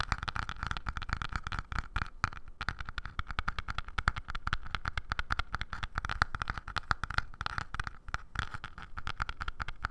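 Fingertips and nails rapidly tap and scratch the grained surface of a small, light-coloured wooden block or box held in both hands. The result is a dense, steady stream of quick, dry clicks with a soft low thump and a faint ringing tone around 1.4 kHz, continuing without pause for the whole clip.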